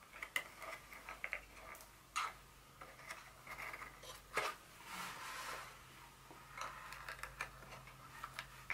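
Long fingernail tips tap a small, white, hollow cardboard insert from a Dior fragrance box resting on a table. The result is an irregular run of light, crisp, papery clicks with a bright, hollow tone that die away almost at once, plus a soft brushing scrape partway through and very little low end.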